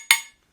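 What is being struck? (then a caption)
Two metal pieces knocked together. Two metal objects are knocked together once, giving a sharp, bright clink that rings briefly at a high pitch and dies away within about a quarter second. The tone is higher-pitched than the same knock with wood, because the tightly held atoms in metal act like stiffer springs and vibrate faster.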